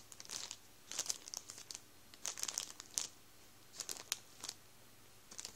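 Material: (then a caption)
Plastic. A hand rubs and presses the surface of a full Warburtons plastic bread roll bag with its fingertips, crinkling the plastic. Short bursts of bright, high crackling come in irregular clusters, each dying away almost instantly, over a quiet, faint low background.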